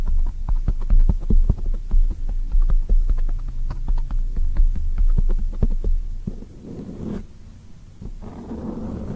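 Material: Foam.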